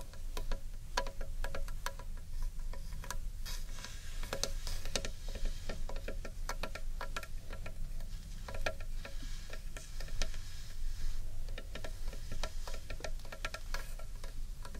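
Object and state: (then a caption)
Carved wooden bowl. Long painted nails tap steadily on the wooden wall of a large, hollow carved wooden bowl held on its edge. The quick, light clicks ring only briefly over a deep, hollow low resonance, with a faint tonal ring in the mids on some taps.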